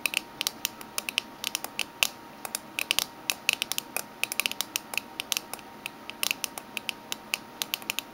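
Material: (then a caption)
Metal. Long fingernails of both hands tap the lid of a small, closed, hollow oval aluminium/tin Minteas mint tin with a green lid and orange label band, lying flat on a red table with its contents not visible. Dozens of quick, irregular taps produce sharp, bright, clicky ticks with almost no ring and no low end. A faint steady high tone runs underneath.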